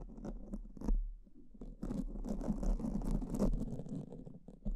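Pink silicone spoolie tips are rubbed and scratched against black foam microphone covers with both hands. The result is a dense, muffled, low-pitched scratching and rustling with soft, irregular textured strokes that swell into louder passages, mostly in the lower range.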